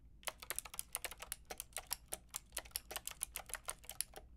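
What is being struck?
Plastic mechanical keyboard with round keycaps.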